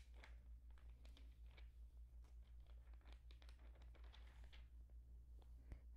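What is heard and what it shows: Fingertips hold and flip the thin glossy paper pages of an open Allure magazine lying on a blanket. Quiet crinkling and rustling come in short bursts as the pages turn, over a steady low hum.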